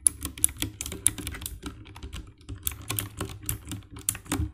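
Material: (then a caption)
Plastic. Fingertips and nails type on the keycaps of a compact 60% black plastic mechanical keyboard with RGB backlight. A steady run of quick, dry key presses clicks and taps with bright, high edges over a low, constant hum. Each press stops almost instantly with no ring.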